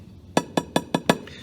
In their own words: And even when you ping it, there's no sound of glass that's cracked.